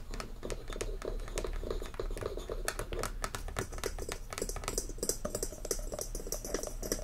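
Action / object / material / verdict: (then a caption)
tap / wooden lid on a glass candle jar / wood / none. Fingertips and short nails tap rapidly on the flat top of a round, solid wooden lid sitting on a frosted glass candle jar full of wax, which rests on a fluffy surface. The taps are short, dry and clicky, with sharp ticks in a steady, dense patter over a low background hum.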